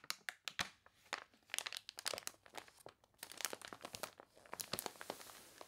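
Long dark nails and fingertips scratch and rub the water-wrinkled, wavy pages of a thick glossy paper toy catalog lying open on a table, turning them. Dense, bright crinkles and crunches come in quick, sharp bursts with almost no low end, each dying away at once. The overall level stays quiet.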